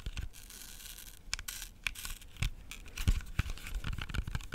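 Fingernails tap and scratch the skin of a whole, solid red-yellow-green apple with fast nail taps. Irregular sharp clicks with low thumps mix with bright, dry scratching that fades quickly after each touch.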